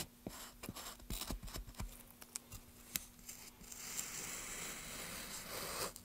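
A small chisel makes quick scraping and cutting strokes at one end of a solid, pale basswood plank that is held down by a gloved hand. Sharp, dry clicks and short scrapes come in a rapid, uneven series, then settle into a steadier, brighter scraping hiss, with a faint low hum underneath throughout.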